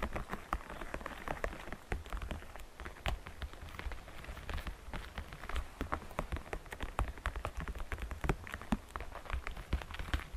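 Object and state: Plastic basket tapped.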